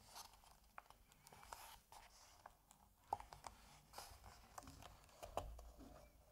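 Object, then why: Paper comic book pages. A hand lifts and flips a paper page over in an open Asterix comic album. Soft papery rustling and crinkling are broken by scattered sharp, brief ticks and snaps of the page, all at a quiet level.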